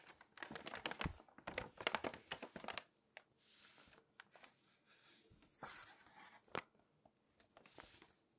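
Long nails scratch and rub across the pages of an open glossy paper magazine, then flip a page. Dense, crinkly scratching bursts fill the first few seconds, followed by softer swishing rubs and a sharp papery snap near the end.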